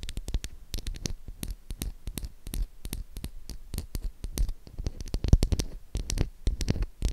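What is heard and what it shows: Long acrylic nails tap and scratch the surface of a solid, pink, oval Dove soap bar with an embossed logo, held in the hand. A rapid, uneven run of short, dry clicks with a soft low thump underneath and bright tips, each dying away almost at once, mixed with faint scratchy rustling between the taps.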